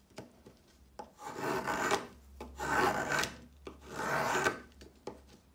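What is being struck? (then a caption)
Chalk stick. A plastic peeler with a metal blade scrapes lengthwise along a solid pale yellow chalk stick, making three long, dry rasping strokes with a bright gritty texture, separated by small taps and clicks. Chalk flakes pile up around the stick.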